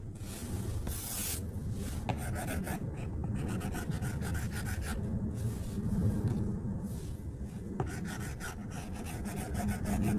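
A plastic stylus tip drags across the flat glass screen of an iPad tablet in coloring strokes, making a steady scratching rub. Quick bursts of bright, hissy strokes come and go over a low, constant murmur, with a few faint ticks where the tip touches down.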